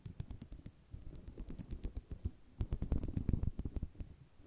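Fingernails drag across the rows of a flat sheet of small white square ceramic mosaic tiles lying on cloth. The result is a quick, dense run of dry scratching and rattling clicks, mostly low and thumpy with bright ticking edges, growing busier and louder toward the end.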